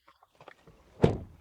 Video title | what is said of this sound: Essai du BYD ATTO 2 DM-i (Hybrid) | Je dirais que ça sonne plutôt solide.